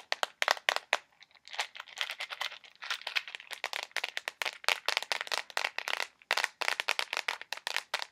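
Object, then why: Small plastic box filled with push pins. A small, filled, clear plastic box of push pins is tapped with fingernails and lightly shaken. The result is a fast, dense run of sharp, dry, bright clicks and crinkly rattles, with no low end and almost no ring after each tap.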